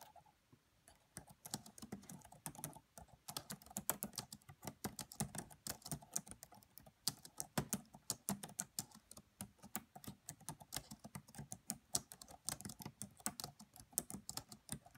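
Both hands type with the fingertips and long French-manicured nails on a red laptop's black plastic chiclet keys, its hollow body under the keys. A steady stream of quiet, rapid clicks and taps sounds, each short and sharp with a bright, high edge over a light low thud, after a brief near-silent start.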